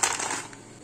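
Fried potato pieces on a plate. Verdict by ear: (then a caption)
Crispy. Deep-fried golden potato pieces are tipped onto a plate, making a quick run of bright, dry clinks and crackles that fade within about half a second. The crisp, clattering sound shows the potatoes are crispy and fried through.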